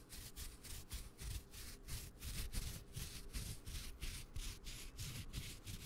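A red and black woven nylon camera strap is held close to the mic and rubbed and scratched with the fingertips. The result is a steady run of soft, brushy scratching strokes with a bright hiss over a low, rumbling handling noise. The strokes pulse in a quick, regular rhythm.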